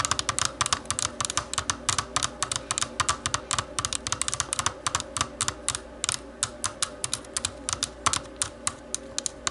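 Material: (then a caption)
Plastic. Long nails tap and scratch the shell of a small, hollow black plastic computer mouse. Dozens of quick, bright, dry clicks come in an irregular, rapid run, each dying away almost instantly, over a faint scratchy hiss with little low end.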